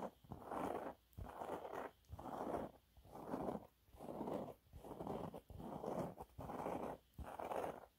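Fingertips and nails scratch and crinkle a yellow waffle-textured cleaning cloth held upright. The result is a steady run of dry, rasping scratch bursts, each under a second long and separated by brief near-silent pauses. The sound is centred in the mid-range, with little low end and a faint bright hiss on top.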